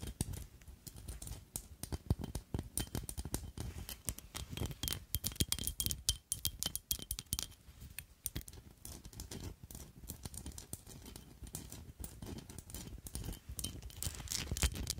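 Long nails tap and scratch the sides and front of a small square black glittery glass perfume bottle with a black cap, held close to the mic. The result is a quiet, steady stream of rapid, crisp clicks with very short decays, mixed with soft scraping and a low thump underneath.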